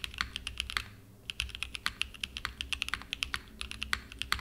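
A small 60% mechanical keyboard with a purple aluminum case and cream and purple plastic keycaps, resting on a desk mat, is typed on continuously with the fingertips. Quick, sharp, bright key clicks come in rapid bursts, with a brief lull near the one-second mark before the typing picks up again.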